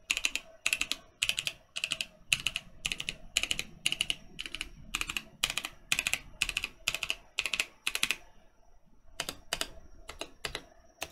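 A Mercutio 40% mechanical keyboard with Boba U4T switches and plastic keycaps is pressed key by key with right-hand fingertips, then typed on with both hands. The result is rapid, bright, short clacks in steady bursts, each dying away almost instantly, with a brief lull near the end before a few more strokes.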